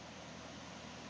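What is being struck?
Nothing is struck.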